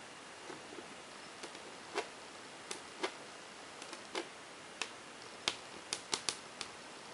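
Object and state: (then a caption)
Whiteboard tapped with fingernails. Long painted fingernails on a ringed hand tap rapidly on a large, flat, glossy whiteboard surface near its bottom frame edge. About twelve short, bright clicks come at an uneven pace over a quiet, steady hiss, each dying away almost instantly.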